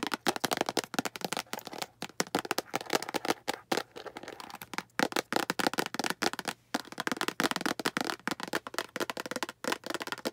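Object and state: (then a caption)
Plastic storage box. A translucent green hollow plastic storage box is held up and tapped with long green acrylic nails. Rapid, dry, clicky taps with almost no ring come in quick bursts separated by brief pauses, with sound mostly in the mids and a bright edge.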